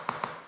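A coin taps twice on a known-good, solidly bonded area of a 1979 Hobie 16 fiberglass catamaran hull as a reference before searching for delamination. Each tap gives a sharp, bright click centered near 1.1 kHz with a short ring that fades quickly. The hull sounds normal here.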